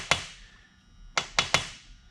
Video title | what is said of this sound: West Coast Muscle Saws Seal installation 12/04 | Hear the noise change. When you tap with the hammer, it's bottomed out as far in as it goes.